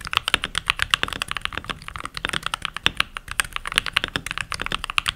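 Fingertips with short nails and rings on the fingers type continuously on a full-size backlit mechanical keyboard with pink plastic keycaps. The result is a rapid, steady stream of sharp, bright plastic clicks and clacks, each dying away almost instantly, with very little low end.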